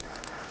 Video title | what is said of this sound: DIAMOND PROTECH - HOW TO APPLY DIAMOND GLASS WINDOW COATING | you got two little glass marbles in the bottom. When I shake, you can hear them.